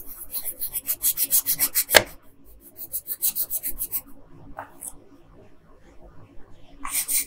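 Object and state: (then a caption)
Colored pencil on a paper sheet. A yellow wooden colored pencil rubs back and forth across the hair area of a thin paper coloring sheet lying flat on a table. Quick scratchy strokes come in rapid bright bursts, with one sharper tap near the two-second mark. After a pause, another run of strokes follows, then a few sparse scrapes and a final bright flurry at the end.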